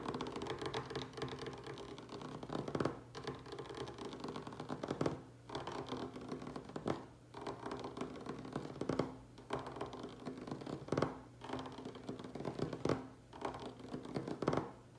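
Fingertips and nails of both hands tap fast on a bare, solid, light wooden tabletop. The result is a dense, continuous patter of short, dry clicks, with louder flurries swelling roughly every two seconds over a faint steady low hum.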